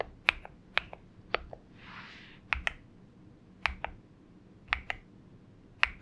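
Fingertips type slowly on a compact 70% Xinmeng M71 mechanical keyboard with an aluminium case and purple gradient PBT plastic keycaps, with fewer taps as the hands lift away near the end. About eleven sharp, bright clicks come in loose pairs, each cutting off almost at once, and a soft brushing swish is heard around the two-second mark.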